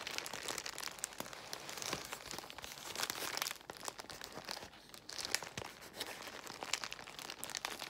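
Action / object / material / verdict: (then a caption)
scrape / plastic bubble wrap / plastic / none. Long white nails scratch and squeeze a large bundle of clear plastic bubble wrap. The result is a steady, bright crinkling and crackling, broken by sharp little snaps, with almost no low end and a brief dip in loudness midway.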